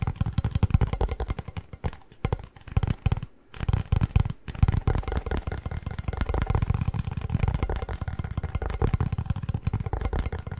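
Fingertips tap and drum on the plastic lid and cardboard body of a hollow Pringles chip can held tilted, making a rapid run of soft, dull, hollow thuds. The taps are deep and boomy with almost no bright edge, each dying away instantly, with short pauses around two, three and a half, and four and a half seconds.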